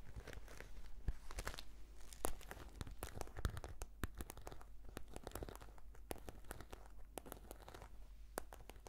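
Long nails scratch a black, glossy, croc-embossed patent faux-leather brush case with a cord tie. The result is a steady run of many short, dry scratching and crinkly ticks with sharp bright transients over a low hum.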